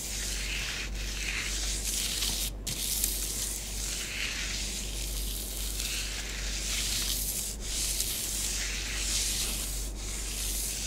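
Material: Powder.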